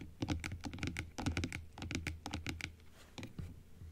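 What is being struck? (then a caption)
Plastic dental teeth model tapped with long acrylic nails. Long acrylic nails tap and scratch across the plastic teeth and blue plastic base of a large plastic dental model, first opened and then closed. Quick, uneven clicks and clatters with a low thunk beneath them come in bursts, then grow quieter and sparser toward the end.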